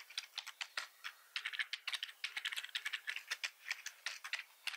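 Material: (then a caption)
Plastic. Fingertips type on a black plastic computer keyboard with red keys, pressing the keys repeatedly in an uneven rhythm. About 28 sharp, bright plastic clicks and rattles are heard, with no low end, each dying away almost at once.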